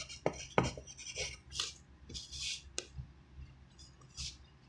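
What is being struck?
Pencil on a paper sheet.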